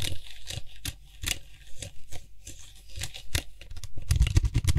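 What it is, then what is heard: Plastic aerosol can cap tapped and scratched. Fingertips and nails tap and scratch quickly on the white hollow plastic cap of a Lysol aerosol spray can held in one hand. Short, dry clicks land at an irregular, rapid pace, each with a dull low thump and a bright scratchy edge. The tapping grows louder and denser toward the end.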